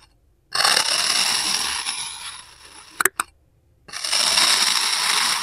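A serrated steel knife held by hand slices through a solid pink kinetic sand car shape resting on a white surface, peeling off crumbly layers. A bright, gritty crunching scrape runs for about two seconds and fades, followed by two sharp clicks and a brief silence. Then a second steady, crisp slicing scrape carries on to the end.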